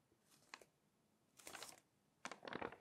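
Fingertips and long nails slide over the coated pages of an open glossy paper magazine and lift them to flip, making soft, bright crinkling and swishing. There are three separate bursts: a brief one, then two longer rustling page turns. Between them the clip is quiet, with little low end.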